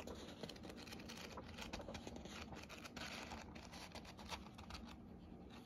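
The paper pages of a hardcover book, held by its edge, are bent and riffled with the fingers. A quiet, steady stream of quick, dry papery flutters and ticks comes through, with bright crisp edges over a faint low rumble.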